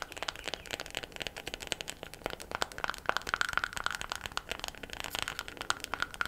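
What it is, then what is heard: Wooden makeup compact. Long black nails tap quickly and steadily on a small, round, light wooden makeup compact that is closed. The result is a rapid stream of many sharp, dry clicks with almost no bass, each dying away at once but carrying a faint hollow tone near 1.4 kHz.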